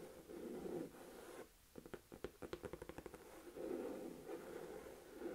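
Fingertips and long nails scratch and tap the front of a hollow, medium-size olive green Michael Kors crossbody purse made of saffiano textured leather. A soft, steady scratching with a mid-pitched rasp comes first, then about ten quick, hollow taps with short rings, before the scratching resumes.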